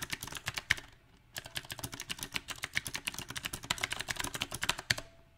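Fingertips type on a compact backlit mechanical keyboard with round black plastic typewriter-style keycaps on a silver frame, with only the right hand typing by the end. A quick, uneven run of bright, sharp clicks and taps from the switches stops briefly near the one-second mark, then resumes and continues to the end.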